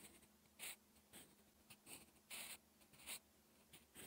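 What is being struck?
Graphite pencil on textured paper sheet.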